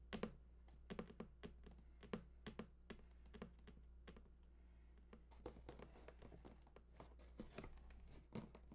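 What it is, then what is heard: Cardboard console box. Fingertips tap rapidly on the front face of a large, printed cardboard PS4 console box lying flat and hollow, near the controller picture. The result is a quick run of short, dull, hollow taps that die away almost instantly, over a steady low hum.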